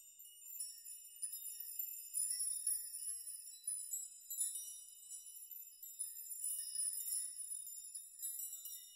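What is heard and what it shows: Open hands rock strands of hanging metal nails so they chime against each other. A quiet, continuous high, bright tinkling with short overlapping rings swells and fades in waves, with no low end.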